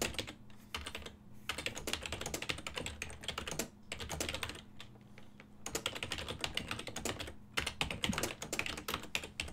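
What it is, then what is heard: Plastic computer keyboard. Fingertips type fast and continuously on a full-size ergonomic silver and black plastic desktop keyboard with hollow key switches, giving dense, bright, clacky keystrokes. The typing comes in bursts with brief pauses, over a faint steady low hum.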